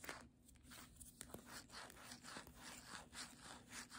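The glossy back cover of a paperback book is rubbed and scratched with long nails and fingertips. About eight soft, bright scratching strokes sweep back and forth at an uneven, unhurried pace, with faint sharp ticks between them. The sound is quiet and airy with little low end.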